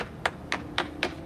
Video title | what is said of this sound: The Smart Board & Property Manager Legal Guide with Guest Panelist Engineer Felix Martin, P.E., S.E. | you can hear how hollow that sounds and that's because the stucco has completely delaminated